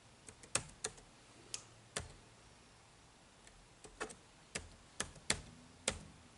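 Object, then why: Plastic laptop keyboard keys. Fingertips type on the dark plastic chiclet keys of a silver-bodied HP laptop, producing irregular, crisp, bright clicks with very short decay. The clicks are separated by uneven pauses over a quiet, hissy background.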